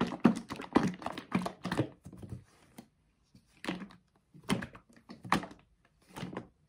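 A blue plastic Dr Teal's bath soak bottle, hollow and holding thick liquid, is gripped in the hands and shaken back and forth. Irregular bursts of dull, sloshing thunks come with brief, bright splashy edges and short pauses between runs of shaking.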